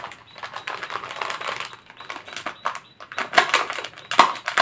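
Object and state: Thin plastic cup.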